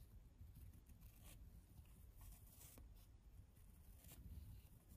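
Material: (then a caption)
Fabric. Long blue nails scratch the pile of a patterned woven rug lying on a wooden floor. The result is a quiet, continuous soft rasping over a steady low rumble, with faint bright scratchy streaks as the nails drag across the fabric.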